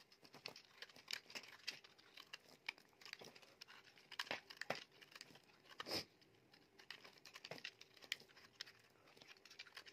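A utility knife blade scrapes and carves flakes off a solid oval soap bar, blue outside and white inside, held in the palm. It makes a steady run of quiet, dry, crinkly scraping cuts, bright and papery with almost no low end, each stroke stopping short with no ring.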